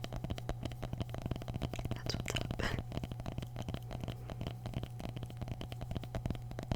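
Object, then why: Mini pumpkin rind. Continuous rapid tapping on mini pumpkins, with many short, dull, low knocks centered around 110 Hz, steady throughout and no whispering over it.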